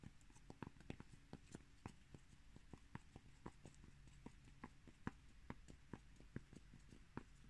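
Fingertips and nails tap and scratch the surface and edge of a single small, round, solid, flat cork coaster with a raised rim, held up in the air. Quick, irregular, dry, muffled taps with very short decay stand out over a soft, continuous scratching hiss.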